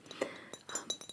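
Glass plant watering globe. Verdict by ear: Hollow.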